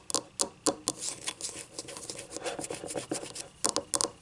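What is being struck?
Small ceramic cup.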